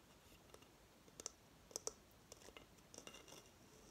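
Long fingernails tap the rim of the base of a hollow coconut shell hamster hideout held in the hand. About ten quiet, sharp, bright clicks come at an irregular pace, each dying away almost instantly over a faint steady hiss.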